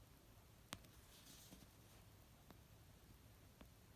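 Fingernails tap the cover of an orange paperback novel near the spine edge as it rests on a blanket. Three short, dry taps come far apart over a low, quiet background hum: the first is the sharpest and brightest, and the later two are softer.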